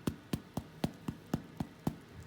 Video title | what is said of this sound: Beer Bread (Father’s Day) | when you tap it, it sounds hollow. That means it's cooked in the middle.